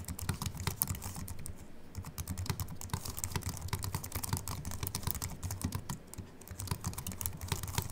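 Both hands type continuously with fingertips on a slim Apple Mac keyboard with an aluminium body and white plastic keys. Rapid, light, bright key clicks come in a steady, uneven patter over a soft low thud, with each click dying away almost instantly. The pace dips briefly twice before picking back up.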